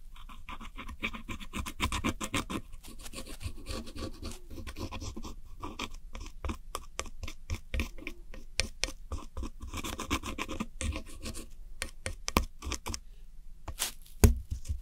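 A red-handled metal hook tool scratches and rubs the dark blue wedge of blue pressed powder eyeshadow in a round white plastic palette. Quiet, dry, gritty scraping and crumbling rasps repeat in quick bursts over a low, steady rumble, each scrape dying away almost at once. A couple of sharper, louder scrapes stand out near the end.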